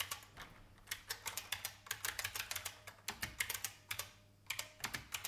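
Fingertips type fast on a vintage beige IBM mechanical keyboard with plastic keys. The result is a rapid, uneven run of bright, clacky keystrokes, each snapping short and dry. There is a brief lull before the typing picks up again at the end.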